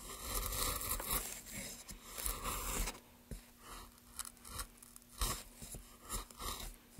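Gloved hands work a chisel across a solid, pale basswood block, cutting and scraping the surface and lifting curled shavings. A dense, crunchy scraping fills the first three seconds, then gives way to a quieter stretch broken by separate short, crisp cuts with a dull low thump and a bright, papery edge.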